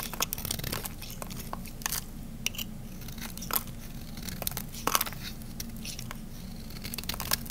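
A metal blade scrapes and carves thin shavings off the edge of a solid, dry, cream-white bar soap held in the hand. Crisp, dry crunching and crinkling scrapes come in short bright bursts over a steady low hum, with some louder crackling strokes standing out.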